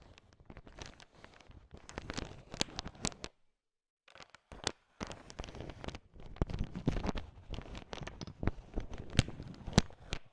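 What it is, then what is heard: Sugar-coated peanut chocolate candies. A heap of candy-coated peanut M&Ms, small hard sugar-shelled peanut chocolate candies, is stirred with a thin wooden stick. It makes dense, crunchy rattling and clicking with sharp bright ticks. There is a brief full silence near the 4-second mark before the stirring resumes.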